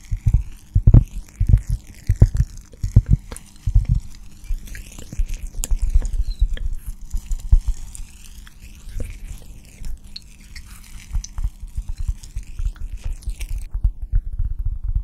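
A round, flat, solid cork coaster about the size of a hand is held beside the microphone and scratched and tapped with long dark-painted nails. Soft, dull low thuds and rapid tapping come through close and muffled, over faint, sweeping, high scratchy swishes.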